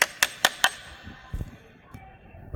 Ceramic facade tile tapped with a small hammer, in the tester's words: som cavo aquele barulho oco esse oco significa dizer que aquele revestimento Ele está sem aderência